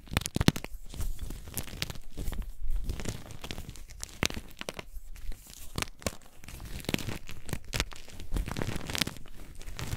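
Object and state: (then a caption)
Gym chalk being crumbled. Chunks and powder of gym chalk (magnesium carbonate) are squeezed and crumbled in both hands with painted nails. A dense, continuous run of dry crunching and crinkly crackles with many sharp, quickly fading snaps, heavy in the low end with bright grainy flecks on top.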